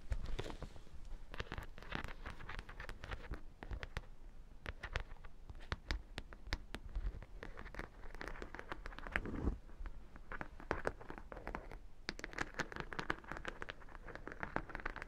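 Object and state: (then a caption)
Studded faux leather bag. Long dark nails scratch and tap along the studded edge of the hollow side of a black faux leather bag with metal studs. A steady stream of quick, sharp clicks and scratchy rasps plays over a low, muffled body, with brief bright ticks from the studs. The sound stays soft and close throughout.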